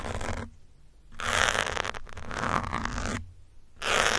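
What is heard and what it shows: A metal pin scratches across the top of a grey foam windscreen on a black microphone, making broad, bright, scratchy rasps in long bursts separated by short pauses. A low rumble continues steadily underneath.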